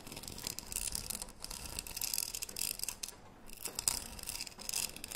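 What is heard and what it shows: A closed cylindrical green metal tea tin with a gold lid is held close to the mic while long nails scratch and tap its body. The result is a continuous bright, dry rasping broken by quick, short-ringing clicks, with the scratching briefly pausing before resuming.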